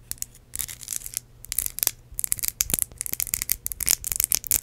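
Long acrylic nails tap and scratch a small ridged red glass perfume bottle with a metal cap that holds liquid. Quick, bright clicks mix with crisp, hissy scratching, mostly in the high range with little low end. The sounds come in irregular bursts with short pauses between them.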